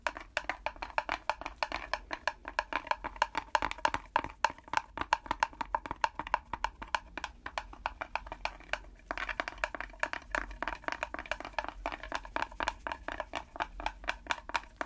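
A small hollow wooden pellet drum, a mini hand drum with a round wooden frame, a red-dotted drumhead and a wooden handle, is held in gloved hands and tapped and scratched on the drumhead with long red fake nails. The result is a fast, uneven stream of dry, clicky mid-pitched taps with almost no ring, mixed with faint scratching. A brief lull comes about nine seconds in before the tapping resumes.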